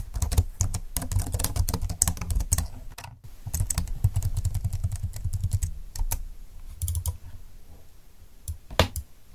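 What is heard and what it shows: Fingertips type continuously on a slim computer keyboard with plastic keys lying flat on a desk. The rapid, dry key taps and clicks come over a heavy low rumble, with a brief pause near three seconds. The typing thins out toward the end.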